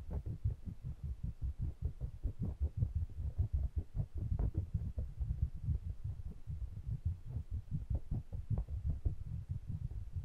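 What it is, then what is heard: Microphone bodies tapped and rubbed. Fingertips rub and stroke the metal bodies of two small pencil condenser microphones with metal mesh grilles, held in the fingers. The result is a steady stream of deep, muffled thumps and rumbling bumps, almost entirely low in pitch, with short pulses that die away quickly and no bright content.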